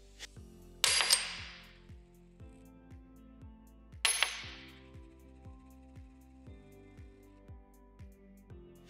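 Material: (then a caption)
Silver. A pre-1965 90% silver US coin is dropped onto a hard surface, striking four times in two quick pairs. Each pair gives a clear, high bell-like ring that lingers about a second and sounds almost musical. Soft, steady rhythmic music plays in the background.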